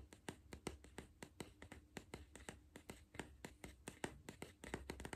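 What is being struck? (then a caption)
Cardboard crisp tube. A hollow green cardboard Pringles tube is held in one hand while the fingertips and nails of the other hand tap its side. About 28 quick, dry taps follow one another in an uneven rhythm, each with a short hollow knock that dies away almost at once. A low, steady rumble sits underneath.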